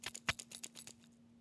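A new Hercules corded-battery hammer drill from Harbor Freight, with a plastic housing, is shaken while being unboxed, and something loose rattles around inside it. About eight short, bright clicking rattles are heard, with no cause confirmed. The rattle is judged not good.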